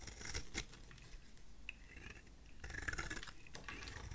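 A utility knife blade shaves a solid oval bar of dry vintage white soap held in the hand, peeling off crisp, flaky curls. Quiet, dry scraping and cutting strokes come in short bursts, with a busier run of brittle, crackly shaving near the end. A bright, papery rasp sits over a soft low rumble.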